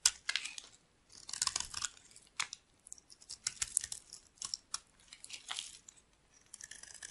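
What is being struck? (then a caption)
Bar of soap carved with a metal knife. A solid, cream-colored rectangular bar of dry soap, held in the palm, is shaved and carved with a metal knife blade into curling flakes. Each stroke makes a crisp, bright scraping and crackling sound, coming in short bursts separated by brief quiet gaps.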